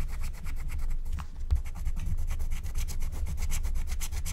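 A wooden stylus scratches and rubs the coating off a thin black-coated scratch-art card lying flat, while the other hand holds the sheet. Quick, repeated dry scraping strokes with a bright, papery hiss run over a steady low rumble, easing briefly near the middle before the stroking resumes.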